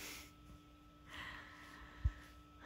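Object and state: Nothing is struck.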